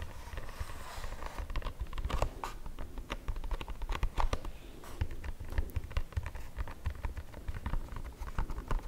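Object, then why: Printed cardboard food box. A closed, printed cardboard box of Nonno Pepi erbazzone is held up in both hands while fingertips and nails tap and scratch across its surface. The result is a steady stream of quick, dry, papery taps and scratches with a soft, dull low thud under them, each one dying away almost instantly.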